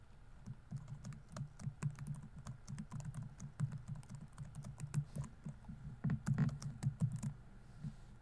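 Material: Plastic.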